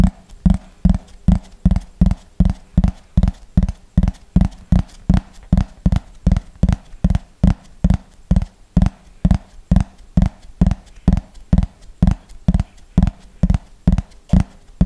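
A yellow plastic frisbee is tapped with fingernails on its top surface in a slow, steady rhythm, about 46 taps over 15 seconds. Each tap is a short, dry, low thud with almost no ring and a faint hollow tone around 170 Hz.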